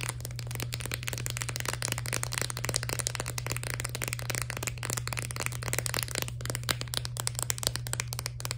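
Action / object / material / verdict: tap / plastic blister pack with cardboard backing / plastic / none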